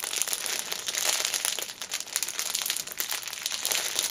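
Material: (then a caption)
Cellophane. A small black fabric pouch in clear cellophane, first lying flat on a cushion and then held upright in both hands, is squeezed and scratched with long nails. The result is a continuous, bright crinkling of the wrapper made of many quick crackles, with almost no low end.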